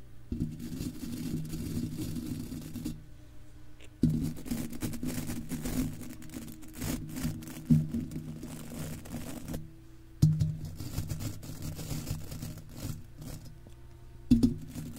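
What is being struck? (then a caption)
Wire-mesh microphone grille. Stiff golf club cleaner bristles are scrubbed over the top and sides of a silver wire-mesh microphone grille with a hollow dome. The result is a dense, low, rumbling scratch-and-brush texture in several continuous passes, broken by brief pauses and sharper bumps where the bristles strike the mesh.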